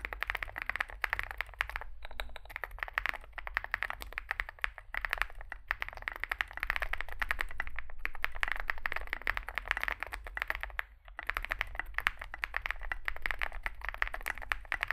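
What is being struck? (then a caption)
Mechanical keyboard with plastic keycaps. A small 65% mechanical keyboard with a dark case and white and grey SA plastic keycaps is typed on continuously with fingertips. Dense, rapid clacks run through the clip, with a short pause near the 11-second mark, over a steady low hum.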